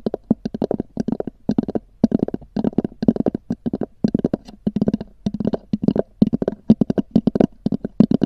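Long nails of both hands tap rapidly on a small, hollow, black oval EVA hard-shell zippered case with a textured covering, resting on a fur rug. Dozens of quick, dry taps come in short bursts and clusters with brief pauses between them. Each tap has a hollow, boxy tone centred in the low-mids and dies away almost instantly.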